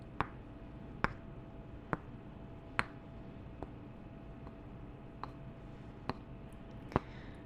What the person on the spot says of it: 4:49-10:33 Tapping two wooden candle tops together